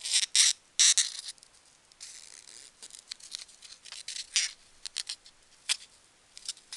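A small, solid, pale-green polystyrene foam packing peanut is pinched, squeezed and rubbed between fingertips and long nails, held above a box. It makes bright, high, squeaky rubbing bursts at an uneven pace, starting with a few loud squeaks and then settling into softer scratchy rubbing and scattered sharp squeaks.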